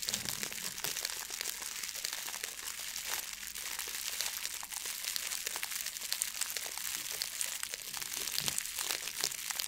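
A blue metallic plastic foil ribbon gift bow is crinkled and pulled with the fingers. It makes a steady, dense stream of bright, crisp crackles and rustles with little low end, at a fairly quiet level throughout.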